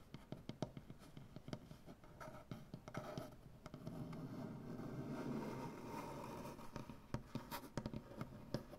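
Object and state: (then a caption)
Wooden butcher-block table. A large, solid wooden butcher-block tabletop is scratched by one hand with dark painted fingernails, giving quiet, dry, sharp clicks and short scrapes. In the middle the sound becomes a steadier, slightly louder rasping scratch before breaking back into crisp, separate taps and scrapes.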